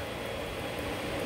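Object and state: Nothing is struck.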